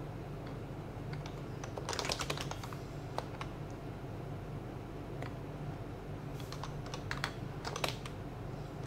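A child types fast with the fingertips of both hands on a white compact HHKB plastic mechanical keyboard with plastic keycaps, both hands staying on the keys throughout. Dense, short, bright plastic clicks and taps come in quick bursts around the 2-second mark and again late in the clip. A steady low hum sits underneath.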